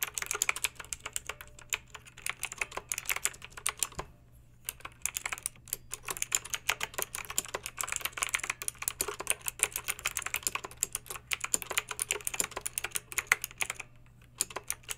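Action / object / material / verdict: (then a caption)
tap / plastic mechanical keyboard with round keycaps / plastic / none. Long pink acrylic nails type quickly on a plastic mechanical keyboard with backlit round plastic keycaps, producing a dense stream of sharp, bright clicks and clacks. The typing pauses briefly around four seconds and again near fourteen seconds, over a faint steady low hum.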